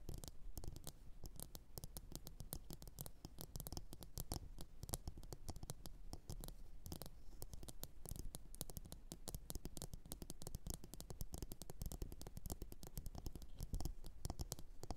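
Long nails tap and scratch the outside of a hollow, glossy blue ceramic bowl sitting upside down. The result is a quiet, steady stream of rapid, short clicks and scrapes that die away almost instantly, with most of the energy low in pitch.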